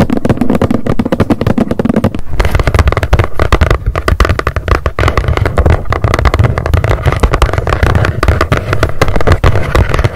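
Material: Cardboard.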